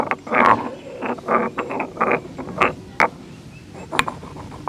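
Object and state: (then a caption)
Stone mortar and pestle. A solid stone pestle held in the fingers grinds and knocks against the inside of a hollow, medium grey carved stone mortar resting on tiles. Gritty scraping strokes with a midrange, slightly ringing tone alternate with short sharp clicks, and several hard bright knocks stand out near the end.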